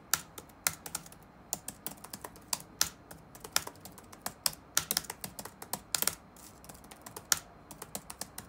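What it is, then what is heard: Plastic laptop keyboard being typed on. Fingertips type rapidly on the black plastic keys of an open laptop resting on a wooden desk. About two dozen crisp, bright clicks come in an uneven rhythm, with a few louder strikes among softer taps. Each click dies away almost instantly over a faint, steady background hiss.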